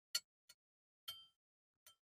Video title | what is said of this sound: Keris Andalan, Peksi Gapit Empu Jigja Mojopahit, 🔥 ngeri wingitnya | sentilannya itu tingnya itu dia agak beratnya itu bukan karena kurangnya matang dari pusaka ini, namun dari segi bahan bajanya itu lebih banyak